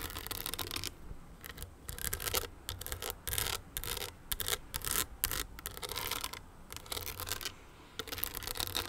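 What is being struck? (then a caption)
Small crystal-studded owl clutch with a metal frame. A small, hollow, owl-shaped crystal clutch with a metal frame is scratched with long nails. Bursts of bright, gritty scratching and rasping come in quick runs separated by brief quiet gaps, over a faint low background hum.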